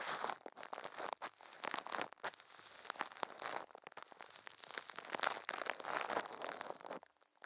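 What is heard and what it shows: Furry puppet hands squeeze and crinkle thin clear plastic film wrapped over a microphone head. The result is dense, continuous crackling and crinkling with bright, hissy texture and sharp little snaps. It runs almost nonstop before dropping off sharply at the very end.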